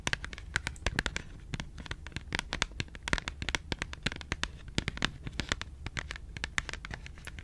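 Long pink nails scratch and tap a small, closed Schogetten cardboard chocolate box. The result is a rapid, steady stream of short, dry clicks and scratchy rasps that stop instantly with no ring, over a faint low hum.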